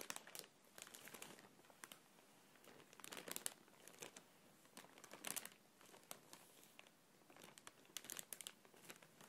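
A medium, thin, clear printed plastic packaging bag, apparently empty and hollow, is held in both hands and crinkled and squeezed with fingertips and long nails. Soft, bright crinkling and crackling comes in irregular bursts, louder around the middle and near the end, with very little low end.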